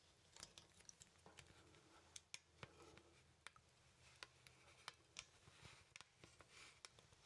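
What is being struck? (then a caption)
Wooden artist mannequin. Fingers pose the arms of a small, solid wooden poseable artist mannequin, and its wooden joints click. A quiet series of sharp, dry, bright clicks and ticks is scattered irregularly across the clip, each dying away almost instantly over a faint, soft background hiss.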